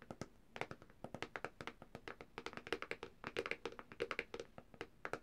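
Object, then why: Plastic tablet back cover. Long dark-painted nails on both hands tap quickly across the thin, hard plastic back cover of a black Samsung tablet lying flat with its back side up and logo showing. About three dozen short, dry clicks and thunks with a bright edge follow one another in an uneven, rolling rhythm, each dying away almost instantly.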